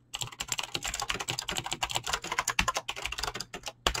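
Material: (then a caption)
Plastic. Fast typing on a full-size mechanical keyboard with Razer green clicky switches and pink-blue PBT plastic keycaps, resting on a desk, by fingertips with short painted nails. A dense run of about 26 sharp, bright clicks follows in quick succession, each dying out almost instantly.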